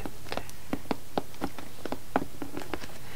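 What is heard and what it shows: Long painted nails and fingertips tap and scratch the top of a large, hollow yellow corrugated cardboard shipping box that has a plastic document pouch on its lid. The result is a quiet run of soft, hollow ticks and brief scratchy brushes, each with a low thud under a light click, spread unevenly over a faint background hiss.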